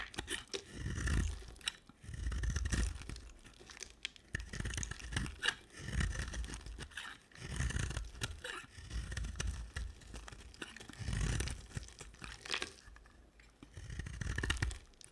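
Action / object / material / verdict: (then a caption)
scrape / bar of soap shaved with a blade / soap / none. A utility knife blade shaves a solid, square white soap bar with a red edge, sending curls falling off. Each stroke makes a soft, crunchy scraping swell with a muffled low body and a crisp, bright crackle, repeating at a steady rhythm with short quiet pauses between passes.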